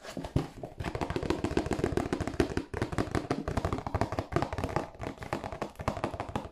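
A hollow, glossy cardboard tissue box held upright in both hands is tapped with fingertips and nails on its bottom and end. It gives a quick, steady run of dull, hollow taps with a low, boxy body and very short decay, plus faint lighter clicks from the nails.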